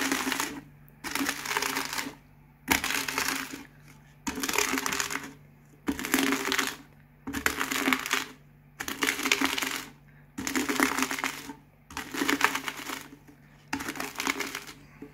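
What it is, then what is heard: Crushed potato chips. A cardboard Pringles can is rolled by hand over a pile of finely broken potato chip pieces, crushing them. Ten separate bursts of dense, bright crackling and crunching come in a steady rhythm, with short quiet gaps between them.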